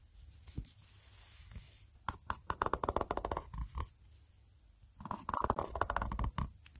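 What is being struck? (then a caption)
Hardcover paper notebook. A black Moleskine watercolour notebook, a solid hardcover with a paper band, is held in the hands while short nails and fingertips tap on its cover. After a quiet start, two bursts of quick, dry taps and light scratches follow, one around 2–4 seconds and one around 5–6.5 seconds. Each tap is a short, hollow knock with a dull low thump, ringing faintly near 1 kHz.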